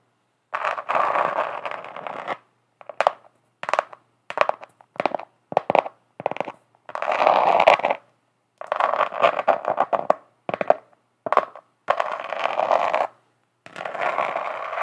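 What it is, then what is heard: Glitter-covered notebook. Long acrylic nails of both hands scratch and tap across the flat glitter-coated cover of a notebook, heard close up. Sustained, gritty midrange scratching strokes alternate with shorter, quicker bursts of scraping and tapping, with brief silences in between.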